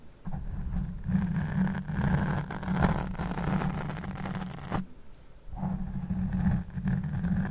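A black foam microphone windscreen is rubbed and scratched with the fingertips and nails of one hand, producing a dense, muffled, low rumbling scrape. The scratching runs continuously, drops briefly to a near-silent pause about two-thirds of the way through, then resumes just as heavily.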